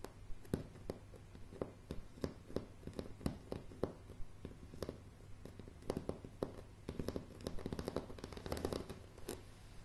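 Fingernail tips of both hands tap and scratch across a solid, light pine plank floor. Short, dry clicks come in irregular bursts, mixed with soft scratching over a low, steady hum, and each tap dies away almost at once.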